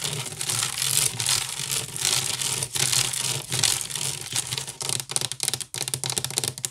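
Long nails scratch quickly across the weave of a large, hollow woven wicker basket. A dense, bright rasping runs almost continuously at first, then breaks into short, choppy strokes with brief gaps toward the end, over a faint steady low hum.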